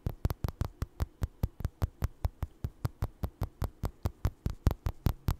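Fingertips and nails scratch and tap a small, soft, stuffed orange crocheted doll with eyes, held close to the mic. About 27 short, dull, thumping taps come in a quick, fairly steady rhythm, each dying away almost instantly. The sound is deep and muffled with a faint low hum, and there is almost no bright content.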